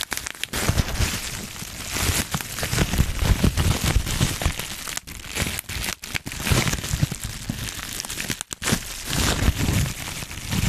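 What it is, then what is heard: Bubble wrap being crinkled and popped. A small crumpled sheet of clear plastic bubble wrap with air-filled bubbles is held in both hands in front of a foam-covered mic while fingertips squeeze and pop the bubbles and crinkle the plastic. A steady, dense crackling and crinkling runs throughout, mixed with deep, muffled thumps and short, sharp pops that die away almost instantly. A few brief near-silent gaps break up the handling.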